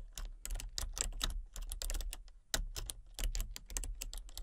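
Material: Plastic.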